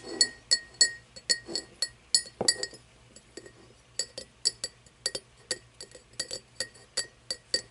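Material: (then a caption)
Crystal glass. An empty cut-crystal glass tumbler lying on its side on a wooden table is tapped and scratched with long painted fingernails. A steady run of bright, sharp clinks rings high and dies away almost instantly, with soft scraping between the taps.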